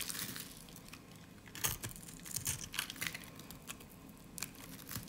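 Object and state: Dry soap bar, scraped.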